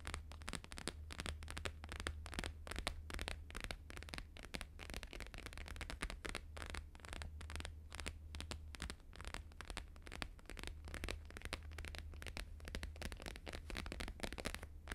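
Both hands tap fast with fingertips and nails on a thin, flexible, flat square sheet of plastic-laminated holographic paper lying on a fur rug. The result is a dense, continuous stream of short, crisp clicks and crackles, with a steady low hum underneath throughout.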